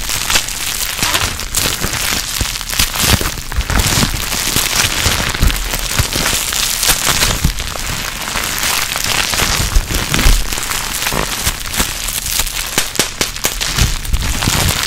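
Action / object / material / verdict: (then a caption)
scrape / plastic bubble wrap / plastic / none. A small bunched piece of clear plastic bubble wrap, held in a hand close to the mic, is squeezed and popped with the fingertips and long nails. The result is a dense, continuous popping crackle with sharp, bright snaps over a low rumble.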